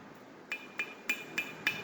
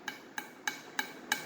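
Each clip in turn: First: Five bright metallic knocks near 2.4 kHz with short ring: a thick-walled metal driveshaft tube, less hollow sounding. Second: Five quick knocks on a metal driveshaft tube, each a bright clang near 1.6 kHz, thin-walled and hollow.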